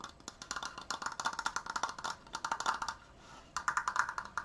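Fast tapping on a wooden Triforce decoration gives quick, dry wood-block-like clicks with a hollow midrange knock near 1.4 kHz and a bright edge. The taps run in rapid bursts with a brief pause near the three-second mark, each dying away almost instantly.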